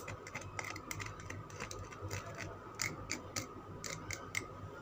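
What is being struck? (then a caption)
Bar of soap. Long nails tap and scratch a solid green Lux soap bar with a sparkly, scraped surface. Quick, dry clicks with a bright edge, ringing near 2.2 kHz, come in uneven bursts over a soft, steady scratching hiss.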